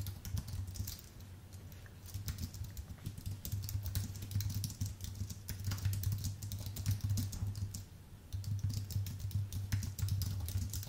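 Fingertips of both hands type fast on a full-size white Apple Magic Keyboard with an aluminium base and white plastic keys, producing dense bursts of bright, crisp key clicks. The typing eases briefly around two seconds and again near eight seconds before picking back up, over a steady low hum throughout.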